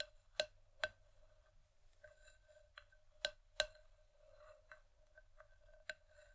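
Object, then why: Wooden bowl. Long nails tap the outer side wall of the same empty, hollow wooden bowl from both sides. Scattered sharp, bright clicks, some louder and some softer, each carry a short hollow tone around 610 Hz that dies away almost at once. The taps are quiet and irregularly spaced, with faint ticking in between.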